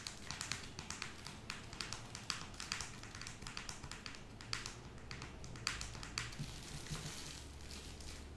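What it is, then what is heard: Plastic wet wipes packet. A soft blue plastic makeup wipes pouch with a hard plastic lid, full of wipes, is held in both hands and tapped with long acrylic nails. Quick, sharp, bright clicks come in an uneven stream over a low, steady rumble, each dying away almost instantly.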